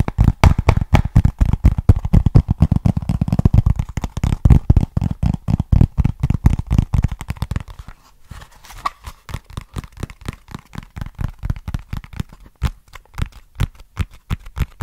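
Fingertips and nails tap and scratch a small, flat, hollow brown cardboard box with a barcode label, held close to the microphone. The result is a fast run of dry, short, low, thumping taps, about four per second, mixed with crinkly scratching. The taps are louder and boomier for the first eight seconds, then turn quieter and lighter.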